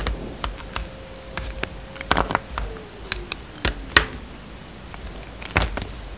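A utility knife blade carves thin slices off a solid, hand-sized bar of blue and white striped soap held in the palm, with shavings lying on the table. Crisp, sharp clicks and snaps come at irregular intervals, each dying away almost at once, over a faint steady tone that slowly slides lower.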